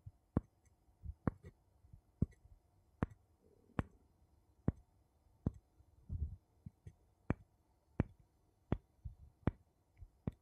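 Two wooden spoons are tapped together in an evenly spaced series of short, dry clicks with almost no ring, interspersed with softer knocks. A brief muffled rub is heard around the six-second mark, all at a quiet, low-pitched level.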